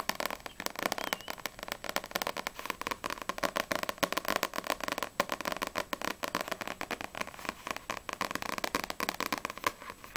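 Long nails tap fast on the glossy paper front cover of a small, solid paperback manga, No.6 volume 5, held in both hands. The result is a dense, steady stream of dry, crisp clicks, centered in the midrange with a bright edge and almost no low end. Each tap dies away almost instantly.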